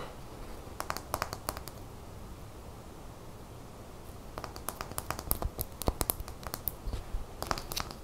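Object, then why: Small glass bottle with plastic cap. A small, clear glass bottle of top-coat nail polish with a black plastic cap, about half full, is held in the hands and tapped rapidly with long fingernails. Short bursts of sharp, bright clicks sound over a low background rumble: a brief cluster near the start, a quiet pause, then denser tapping from about four seconds to the end.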